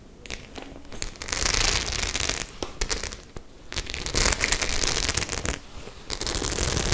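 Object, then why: Faux leather clutch bag with metal studs. Long nails tap and scratch the silver and black metal studs on a white faux leather clutch bag. Quick clicking taps alternate with louder stretches of bright, crackly scratching that swell and fade in bursts.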